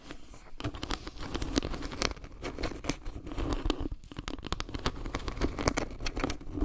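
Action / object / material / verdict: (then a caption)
tap / wood-slice trivet tapped and scratched with fingernails / wood / none. Long painted fingernails tap and scratch across a round, flat, solid wooden log-slice trivet carved with maple leaves around a dark pebble-like center. A steady patter of short, dry, woody clicks blends with raspy scratching, weighted toward a low thud with little high-end sparkle. Each tap dies away almost instantly.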